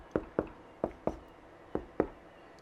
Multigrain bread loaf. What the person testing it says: you need to hear that nice hollow sound. Sounds good from the top.